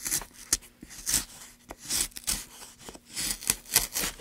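A gloved hand pushes a gouge along a groove in a solid light pine block, cutting and scraping the wood. Bright, breathy scraping strokes come in bursts, with sharp clicks in between.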